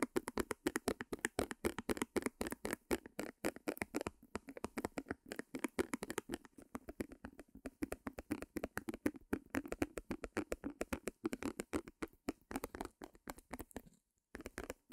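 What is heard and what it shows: Long nails tap and scratch a small white stretched canvas on a wooden easel as it is moved around the mic. The result is a rapid, uneven stream of dry, short taps and scrapes with a mid-range body and a bright edge, and a brief pause near the end before the tapping resumes.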